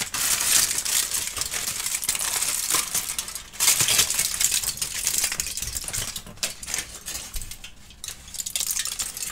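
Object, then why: Aluminium foil sheet. A heavily wrinkled aluminum foil sheet is crushed by hand, then opened out wide and crumpled and crinkled with fingers and palms. Dense, bright crackling runs throughout, with louder bursts near the start and again just before four seconds. It eases to a softer rustle later before picking up again at the end.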